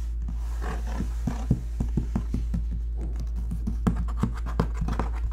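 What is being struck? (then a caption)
Corrugated cardboard box. Fingertips and short nails, one finger wearing a ring, tap and scratch the flat side of a large, hollow corrugated cardboard shipping box printed with a NEOLOGIC logo. Quick, dry taps and soft scratching sound over a steady low hum, each tap dying away almost at once.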